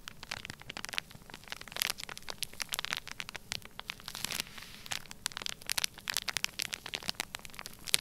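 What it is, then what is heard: Plastic bag of kinetic sand. Fingertips press, rub and scratch across the surface of a full, flat, sealed clear plastic bag filled with orange kinetic sand. The result is a dense run of bright, sharp crackles and crinkles over a soft rustling hiss, with little low end and brief swells of louder rubbing.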